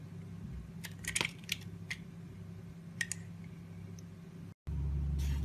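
A solid white soap bar with blue edges, held in the hand, is sliced into thin shavings with a box cutter blade. Several short, crisp scraping clicks stand out over a steady low hum. Near the end the sound cuts out briefly, then the hum returns louder with a faint bright hiss.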